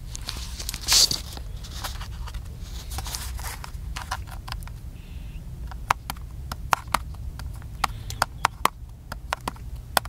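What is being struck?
Plastic camcorder body.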